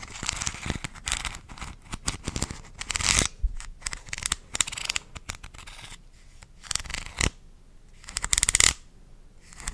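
A medium purple plastic vitamin bottle with a white cap and a paper label, apparently filled, is tapped and scratched with long dark-painted nails. Crisp, bright clicks and scratchy rustles come in quick, irregular bursts. Louder scraping swells rise near the middle and again toward the end.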